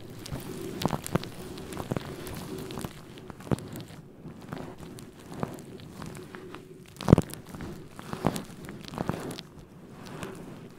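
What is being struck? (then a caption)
Faux fur microphone windscreen. Fingertips of both hands rub and scratch a fluffy faux fur microphone windscreen, giving a soft, low, muffled rustling with scattered brief crackly scratches throughout.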